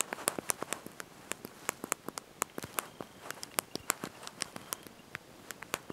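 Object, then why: Plastic phone keypad keys. Thumbs and fingertips press and tap the small, backlit plastic keys of a handheld slide-out mobile phone's QWERTY keyboard while typing a message. About 32 short, sharp, bright clicks arrive in an uneven typing rhythm, each dying away almost instantly over a quiet, faint hiss.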